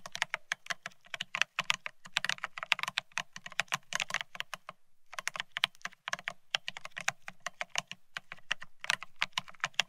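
Both hands type rapidly with their fingertips on a Bear65 mechanical keyboard fitted with blank white matte ceramic Cerakey keycaps on a steel plate, resting on white cloth. The result is a dense stream of sharp, bright, glassy clacks with a faint low thock beneath each press. The clicks cut off instantly, with a brief pause midway before the typing resumes.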